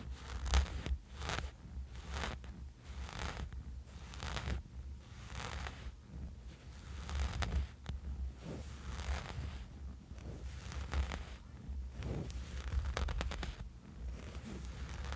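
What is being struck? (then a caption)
Soft fabric sleep eye mask. A small, dark, soft fabric sleeping eye mask lying on a bed sheet is scratched with the fingertips and short nails of both hands. The result is a steady run of quiet, rasping, zipper-like scratching strokes in uneven bursts over a low, dull rumble.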